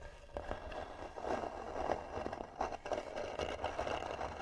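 Long nails scratch slowly and hard across the lid of a hollow, tan carved wooden box. The result is a series of dry, rasping scrapes with a hollow midrange tone, each stroke fading almost at once.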